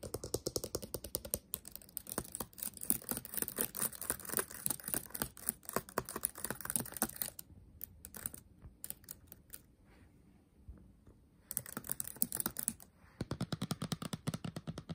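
Fingertips type on a backlit laptop keyboard with black plastic keys set in a metal body. Rapid, short clicky taps run steadily, thin out into a near-quiet stretch of scattered presses in the middle, then pick back up into a fast burst of typing to the end.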